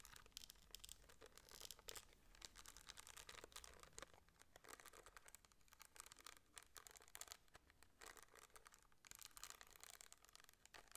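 A small, hand-sized metal case shaped like a flask, its face covered with rhinestones, is held in the hand and scratched and tapped with long nails. The result is a quiet, steady stream of bright, crinkly scratching with quick clicky taps, each dying out almost instantly, with little low end.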